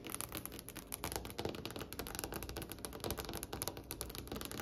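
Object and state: Wooden table.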